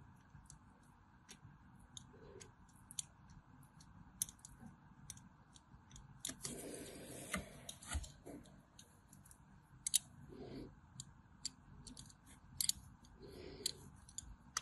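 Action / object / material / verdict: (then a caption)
scrape / bar of soap cut with a small blade / soap / none. A small metal blade scores thin diagonal lines into a solid white, hand-sized bar of soap held in the palm. Quiet, crisp, bright scratches and clicks repeat irregularly over a low, steady background hiss, with a longer rough scraping stretch near the middle.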